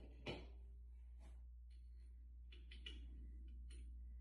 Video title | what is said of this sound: DSM Kiggly Racing W4A33 straight cut planetary assembly | different sound there, which means it's pretty good. Because we don't want these to fall out.